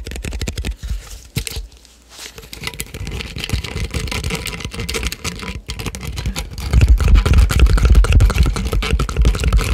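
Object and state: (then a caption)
Plastic drink bottle. A clear plastic drink bottle in the Prime style, about 500 ml with a red and white label, is held close to the microphone and tapped with fingertips and nails on its ridged body and cap. The result is a rapid, irregular patter of hollow plastic ticks and taps, with a brief quiet dip near the two-second mark. The tapping grows louder and more thumping over the final three seconds.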